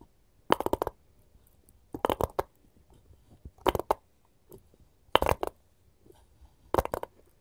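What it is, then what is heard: Wooden cutting board. A wooden cutting board is tapped with gold finger rings, giving five short clusters of quick, clicky taps spaced about one and a half seconds apart. Each burst has a dull mid-range knock with bright, brief clicks, and it dies away almost at once against near silence.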